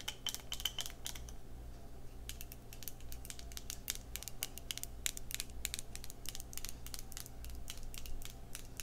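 Long red nails tap rapidly on a small square clear glass skincare jar and its pink-white plastic lid, held close. Dense, irregular runs of short, crisp, bright clicks die away almost instantly, over a steady low hum.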